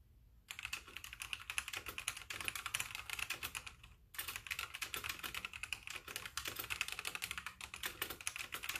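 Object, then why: Plastic mechanical keyboard. Fingertips with painted nails type with both hands on a full-size backlit mechanical keyboard with white plastic keycaps. A fast, steady stream of bright, sharp plastic clicks runs throughout, with a brief pause near the middle. Each click dies away almost instantly.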